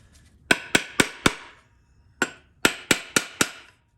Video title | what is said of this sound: 7. Ford 4R100 Rebuild - Case Assembly Pt 2 | once you kind of hear that flatter tone you know the pump's fully seated